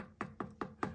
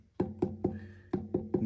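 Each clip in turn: First: leather-hard clay pot trimmed thin at the base. Second: thick-walled leather-hard clay pot.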